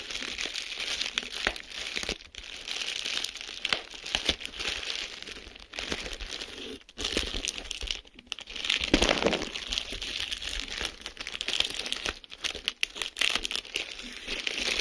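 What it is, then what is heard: Plastic bubble wrap being crinkled and popped. A sheet of clear plastic bubble wrap is held up and pinched with fingertips and short nails, its bubbles squeezed and popped while the sheet crinkles. A steady, bright crackling fills the clip, broken by sharper snapping pops and a few brief pauses.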